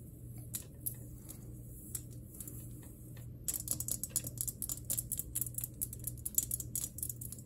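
Long nails tap on a glass electric globe, sparse at first and then quickening into rapid bursts after about three seconds. The taps are sharp, dry and bright, with a steady low hum underneath.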